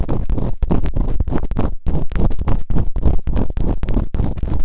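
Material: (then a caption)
Silicone. Bamboo earpicks, held in fingertips with long nails, rapidly scratch and rub inside the open canals of both soft, solid rubbery silicone ear models on a white binaural microphone. The result is a dense, muffled stream of low, thumping scrapes and rustles, with short bursts that crowd almost continuously together and leave very little high end.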